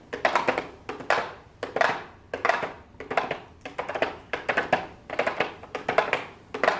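Long blue acrylic nails tap and scratch the clear plastic window lid of a small, hollow pink cardboard makeup box. Quick clusters of light, crisp clicking taps and short scratchy rasps come in bursts about every second, with a hollow, boxy tone around 660 Hz and a bright edge that dies away almost immediately.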